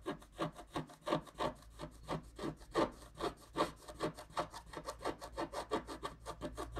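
A wooden stylus scrapes the wax coating off a flat scratch-art card of wax-coated paper, working the tree trunk in vertical strokes. It makes a steady run of short, dry, rasping scratches, about three per second, each with a soft papery hiss and no ring.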